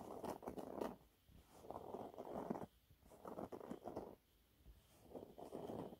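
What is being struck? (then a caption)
Cellulose sponge cloth. Fingernails scratch a thin, flat, yellow textured cellulose sponge cloth. The result is four soft, quiet bursts of dry, papery scratching, separated by brief near-silent pauses. The sound is mostly muffled mid-range with little high or low content.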